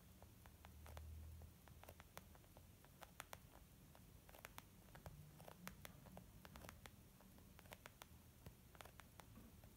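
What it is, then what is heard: Leather makeup bag tapped with nails. Long nails on both hands tap a small white textured leather zip makeup bag lying flat, which feels soft and hollow. It makes quiet, quick, scattered clicks with sharp bright ticks and very short decay, over a low soft rumble that swells briefly near the start.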